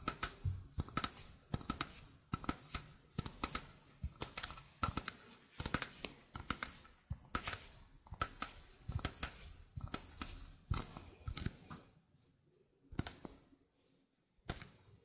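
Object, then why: Stainless steel mesh sink strainer. A small, hollow stainless steel mesh sink strainer is held in hand while fingernails tap and scratch across the mesh. This produces rapid bursts of bright, crisp metallic ticking and scratching with a very short ring. The bursts fall mostly silent for about a second near the end, then a few more taps follow.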